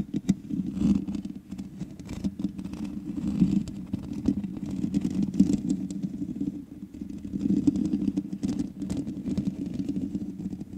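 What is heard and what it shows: Long manicured nails on both hands scratch the hollow, rounded metal mesh grille of a large black USB condenser microphone. A dense, close-up rasping texture with a strong low-mid body rises and falls in waves. Short crackling clicks punctuate it throughout.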